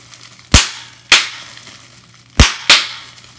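Clear plastic bubble wrap has its bubbles pinched and popped with fingers and nails, giving four sharp, bright pops. Each pop fades quickly against a faint low hum, with the last two coming close together.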